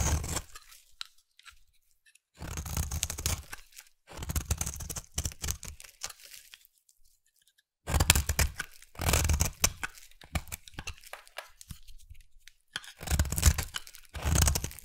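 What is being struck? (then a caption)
Bar of soap. A utility knife blade shaves along the edge of a solid, oval, hand-held pink bar of soap. It makes bursts of crisp, tearing scrapes with a strong low rumble and bright, grainy texture, separated by short silent pauses.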